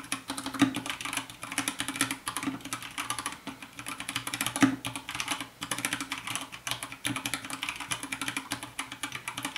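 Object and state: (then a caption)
Plastic mechanical keyboard, typing. Fast two-handed fingertip typing on a compact 60% white plastic mechanical keyboard with a hollow case produces a dense stream of bright, short clacky keystrokes with quick decay. A faint steady low-mid tone, possibly soft lofi music, sits underneath.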